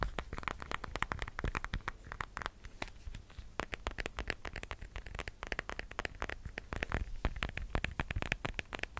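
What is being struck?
Smartphone with glass screen and plastic case.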